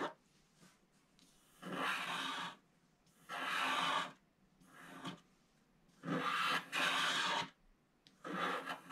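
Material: Coated card.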